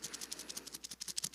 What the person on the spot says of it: it curls around like a spiral and it wraps itself and it makes little pockets and the rattlesnake shake this tail and it makes this